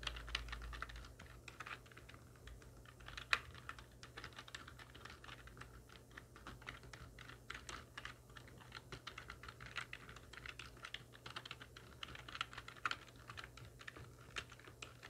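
Long nails and fingertips of both hands type steadily on a full-size black plastic computer keyboard with hollow keys resting on a wooden desk. The result is a quiet, continuous stream of quick, bright, hollow clicks and taps, with one sharper louder clack around three seconds in, over a faint low steady hum.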